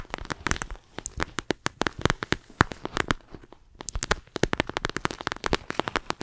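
A flexible clear plastic eye mask filled with gel beads is held close to the microphone, squeezed and scratched with long acrylic nails. The result is dense, rapid, crisp clicks and crackles with a bright edge, with a brief quieter gap midway before the crackling picks up again.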